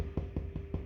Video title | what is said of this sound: Pulled Pork Sandwich -- Ep.3: Season 1 | You just literally knock at the bottom. You want to hear it? Hollow.